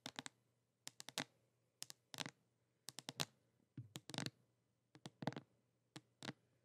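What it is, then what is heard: Cardboard box tapped with fingernails. A flat pink printed cardboard box or palette, thin and hollow, is tilted in the hands and tapped with long nails. About twenty sharp, dry, bright clicking taps come in irregular clusters, each dying away almost instantly. A faint low hum sits underneath the quiet taps.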